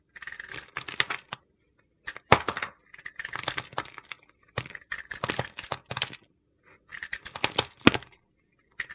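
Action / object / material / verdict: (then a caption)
scrape / bar of soap with glitter coating / soap / none. A solid rectangular bar of white soap with a black and purple glitter coating is carved with a utility knife blade, and flakes break off. The clip has bursts of crisp, gritty scraping and crunching, with sharp clicks and ticks between short pauses.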